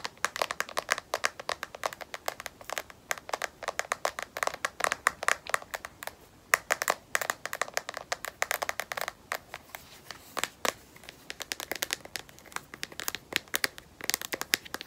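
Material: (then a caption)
Plastic. A smartphone in a solid black matte, rubberized plastic case is tapped rapidly on its edge and back with long nails. The result is a dense stream of short, dry clicks with a bright, mid-to-high tone around 1.9 kHz, no low end and no ring after each tap. The taps come in quick bursts with brief pauses.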